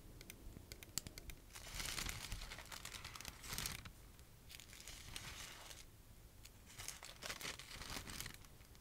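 A stack of thin red paper napkins is held in the hands while long-nailed fingertips flip, rustle and shake the sheets. Soft, bright crinkling comes in several bursts between quieter stretches, with light, quick taps from the nails.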